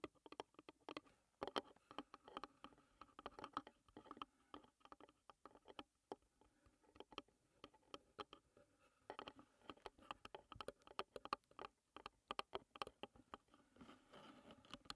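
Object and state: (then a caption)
Wooden tea box, hollow. Long nails tap rapidly on the lid and the lid's front edge of a closed, hollow wooden tea box. The result is a quiet, continuous patter of short, dry clicks with a hollow, woody tone and almost no ring, in bursts of faster and slower tapping.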